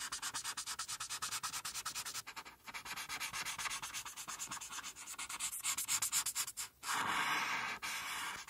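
A felt-tip marker is rubbed in quick, repeated back-and-forth strokes over a flat white paper coloring sheet, filling in the mane with a bright, scratchy hiss and almost no low end. After a brief pause near the end, the marker moves in one steadier, continuous rub across the paper.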